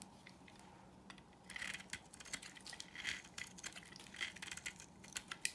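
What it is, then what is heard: Dry soap bar being carved. A solid, dry pink marbled bar of soap held in the palm is carved with a utility knife blade into curling strips. The result is a quiet run of dense, crisp scraping and crackling with bright, high-leaning detail and a faint low hum underneath, starting after about a second and a half of near silence.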